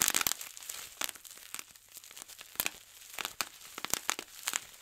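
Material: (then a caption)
Plastic. Fingertips pinch and pop the air-filled bubbles on a large, clear plastic bubble wrap sheet, which crinkles between pops. Sharp, bright snaps stand out against a soft, continuous crackle of rustling plastic, and each pop dies away almost instantly.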